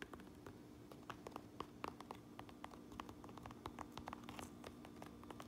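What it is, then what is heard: Fabric trucker cap tapped and scratched with nails. Long acrylic nails tap and scratch the sewn Uinta patch and red stitched brim of a hollow cotton-twill trucker cap with a black front panel, lying on a granite counter. A quick, uneven run of soft, dry clicks with no ring plays over a faint steady low hum, mixed with light scratching rasps.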